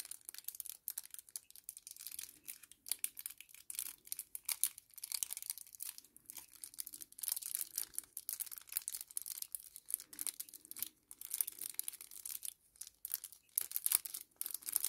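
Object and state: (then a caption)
Kraft paper sachet being crinkled. A small, flat kraft paper sachet is held in both hands and scrunched and crinkled with the fingertips. The result is a quiet, steady stream of dense, bright, crisp crackles with almost no low end. The crackles come in uneven bursts with brief pauses throughout.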